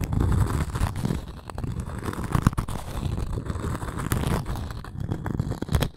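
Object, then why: Cork coaster with wooden rim. Long nails scratch the cork surface of a round, flat coaster with a thin wooden rim, held in both hands. The result is a steady, dense run of low, muffled scraping with rough crackles and a few sharper scratchy bursts.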